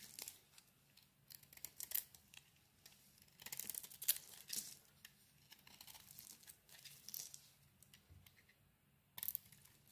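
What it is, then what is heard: Bar soap being carved. A utility knife blade carves into a solid lilac bar of soap with a white interior, peeling away the coating. Quiet, bright, crisp scraping and shaving bursts come in irregular strokes, with louder peels around the middle and near the end and almost no low-end sound.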